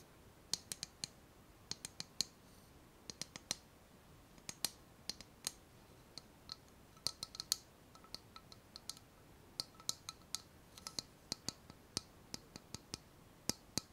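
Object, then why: Small ceramic bowl. Long nails tap and scratch the outer wall and base of a small, empty, hollow floral ceramic bowl. Dozens of quiet, sharp, bright clicks come in irregular bursts, each dying away almost instantly, over a soft background hiss.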